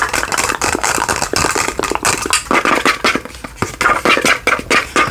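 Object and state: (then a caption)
Glass candle holder. Long fingernails rapidly tap and scratch a small hollow cut-glass candle holder with a diamond pattern and a lit candle or light inside, held in both hands. A dense run of quick, bright clicks and scrapes, with a faint glassy tone near 1.2 kHz, each dying away almost at once.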